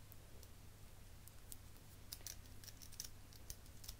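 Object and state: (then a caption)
Metal eyelash curler. A small chrome metal eyelash curler is held in the hand and squeezed repeatedly with the fingers, giving soft, bright metallic clicks. About eleven quick clicks ring only briefly over a steady low hum.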